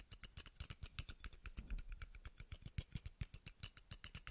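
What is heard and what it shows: A small, hollow, round steel screw cap held in the fingers is tapped and scratched with fingernails. It gives a quick, irregular run of dry clicks, each with a low thud and a bright tick that dies away almost at once, plus a brief scratchy rustle near the middle.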